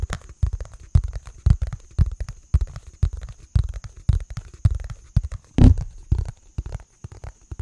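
A round, hollow, thin-walled green plastic lid or bowl is held in both hands and tapped with fingertips and nails. The taps come as quick, irregular clusters of dull, low, hollow knocks that die away almost at once. A faint, steady high tone runs underneath.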